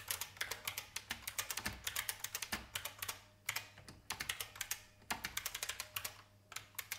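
Fingertip typing with both hands on a vintage beige IBM mechanical keyboard with plastic keys, producing a steady run of sharp, bright clicks with very short decay. The keystrokes come in quick bursts separated by brief pauses, with little low-end body beneath the clatter.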